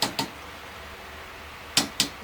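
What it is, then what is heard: Fully seated valve stem seals. Newly installed valve stem seals on a big-block Chevy 454 cylinder head are each given a light tap to check they are bottomed out. Five short, bright taps come in two pairs with a long quiet gap between them, plus a final tap cut off at the end. Each one dies almost instantly with no ring, and the seals are all on fine, since a dull, dead tap would mean a seal needs to go down a bit more.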